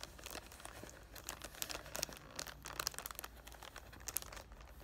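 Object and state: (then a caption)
Cellophane-wrapped cardboard box being crinkled. Fingertips with short painted nails on both hands rub and crinkle the clear cellophane wrap across the front of a cardboard "Thank U Next" perfume box. Bright, dry crackles and short crisp snaps burst irregularly over a soft rustling bed, with no ring after each crinkle.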